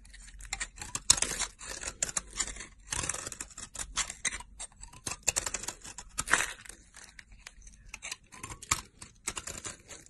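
A solid pink rectangular soap bar, held in a hand with long purple nails, is carved with a utility knife blade. Quick, crisp scraping and shaving strokes come one after another, bright and dry with almost no low end or ring. Thin curls of soap peel away in a steady, uneven rhythm.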